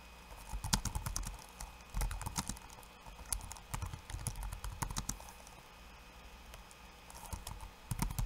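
Fingertips of one hand type on a backlit laptop keyboard with plastic keycaps. Quick, bright clicks and soft low thumps come in uneven bursts over a faint steady hum, with a few louder, sharper taps standing out. Each keystroke dies away almost instantly.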